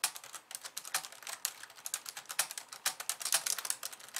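Fast two-handed typing with long nails and fingertips on a pink, slim plastic keyboard with white keys. The result is a rapid, uneven run of bright, crisp plastic clicks and taps that die away almost instantly, with almost no low end.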